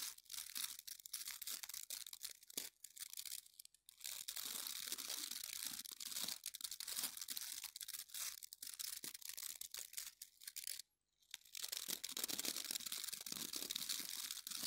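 An oval plastic scrub brush with yellow and orange bristles is held in both hands while the fingers press and rub through the bristles. The result is a dense, high, crackly scratching with quick crunchy bursts, broken by two short silences.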